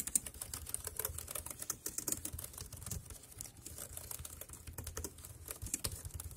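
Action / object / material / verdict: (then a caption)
tap / plastic computer keyboard / plastic / none. A dark grey compact plastic wireless keyboard resting on a plastic sheet is typed on with the fingertips, tapping the keys in a quick, steady stream. Each keystroke is a short, dry, bright click over a soft low thud, with no ring after it, and the level stays quiet throughout.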